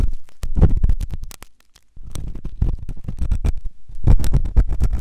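A flat stainless steel ear pick scrapes inside the ear of a white silicone ear-shaped microphone in repeated scratching strokes. The strokes come through as close, dull, low-heavy scrapes and rumbles, with a brief near-silent pause before the scratching resumes.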